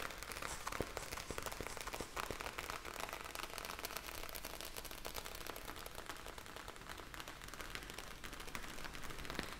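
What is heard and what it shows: A clear, hand-sized plastic zip bag filled with small blue gel beads is held up in the hands and scratched and squeezed with long painted nails. It makes a dense, continuous crinkling and crackling of tiny sharp clicks and rustles at a steady, quiet level, with bright hiss over a soft low rumble.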